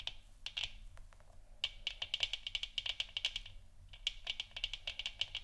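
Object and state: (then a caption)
Plastic moon lamp. Long nails tap and scratch along both sides of a hollow plastic moon lamp sphere resting on a wooden stand. Quick, dry, bright clicks with a peak around 3 kHz come in dense bursts, mixed with brief scratchy rasps and a faint low hum underneath.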